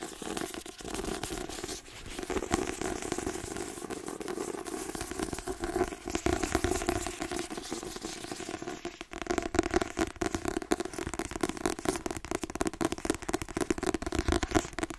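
Long nails rapidly tap and scratch the glossy card cover of a white-covered paperback with a thick, solid paper block. The result is a dense, continuous stream of quick dry clicks and scratchy crackle over a steady mid-range tone, with brief dips before the tapping builds again.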